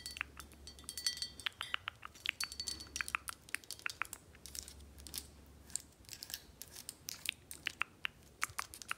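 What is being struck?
Glass bottle.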